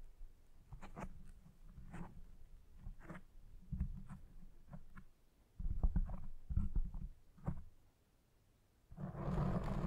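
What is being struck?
Foam microphone windscreen.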